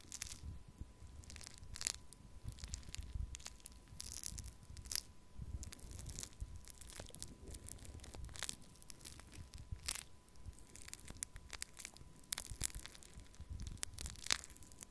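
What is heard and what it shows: Pink foam-bead pearl clay in a small plastic cup is poked and scratched with a thin wooden stick. Quiet, dense crackling and crunchy crinkling come through as many sharp, bright, tearing snaps over a soft low rumble, each dying away almost instantly.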